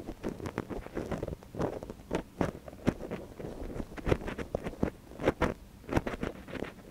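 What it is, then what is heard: Silicone ear scraped with a wooden stick. A thin wooden stick, held in one gloved hand, scratches inside the canal of a small, soft silicone ear on a binaural microphone. It makes a rapid, uneven series of close, crackly scrapes and rustles, mostly dull and low-to-mid in tone. Short sharper clicks stand out among them, with no ringing after each one.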